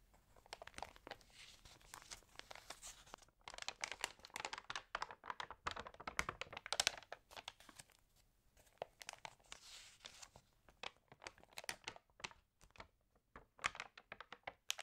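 An open, water-damaged paper home magazine has its pages turned and rubbed with fingertips and long nails. The result is quiet, dry crinkling and crackling: dense bursts of bright, papery rustles with almost no low end. A brief lull comes around the middle before the crackles resume more sparsely.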